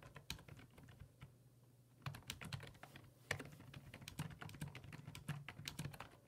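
Fingertips type on the hollow plastic keys of a black plastic full-size computer keyboard resting on a wooden desk. The keystrokes land as quick, repeated taps, each a short, bright click that dies away almost instantly. The taps are sparse for the first two seconds, then come in a denser, steadier run over a low hum.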